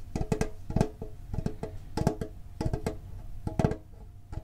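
A medium-sized hollow printed metal Pokemon card tin is held and tapped on its lid and sides with the fingertips and short nails. The result is a quick, uneven run of short, dull, hollow taps with a low tone and a faint metallic ring that dies almost at once.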